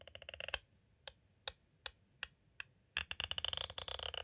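A green striped pointed tool taps and traces along the side of a hollow, clear hard plastic cassette tape case standing at an angle. A quick run of bright, dry clicks gives way to five slow, evenly spaced taps, then a dense flurry of rapid clicking. Each click is sharp and high with almost no ring.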